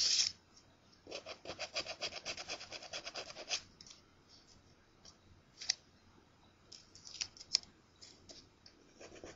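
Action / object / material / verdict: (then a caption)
scrape / paper scratch-off ticket scraped with a coin / paper / none. A coin is rubbed across the scratch coating of a thin, flat paper scratch-off lottery ticket with a crossword grid, which is held down by one hand. A short bright scrape opens the clip, followed by a quick run of rapid rasping strokes and then scattered, softer scratches with quiet pauses between them. The sound is dry and high-pitched with almost no low end.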